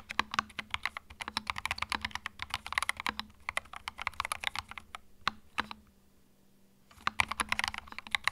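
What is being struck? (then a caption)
Plastic mechanical keyboard. Fingertips type on a small white 65% mechanical keyboard with plastic keycaps and a hollow plastic case, resting on a felt mat. Rapid, bright, clacky keystrokes run in quick bursts, pause for about a second, then resume.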